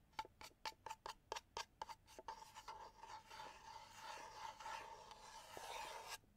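Fingertips and nails scratch and rub the surface of a small hollow wooden box held at an angle. A quick series of separate short, dry scratches with a faint hollow tone near 900 Hz gives way to a continuous bright, raspy rubbing that swells and then stops abruptly.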